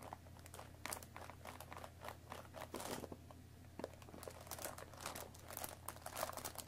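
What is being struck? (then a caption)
Cardboard tea box. Long nails scratch and tap the top flap of a hollow cardboard Earl Grey tea bag box. Dry crinkling scrapes and quick, soft taps come in dense bursts over a steady low hum throughout.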